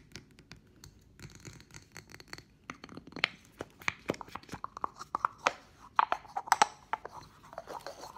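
A medium glass jar candle filled with pink wax, with a white label band and a labelled base, is held up and turned in the hands while long painted nails scratch along the glass and the bottom. The result is a rapid, irregular series of short, dry scratches and clicks with a bright edge and almost no ring, over a quiet background.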